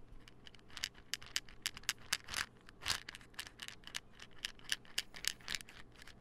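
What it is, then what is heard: Plastic pill bottle. A small, hollow white plastic supplement pill bottle with a gold label and white cap is held in one hand and tapped with fingertips and nails. A quick, uneven series of dry, bright clicks and taps follows, each dying away instantly with no ring.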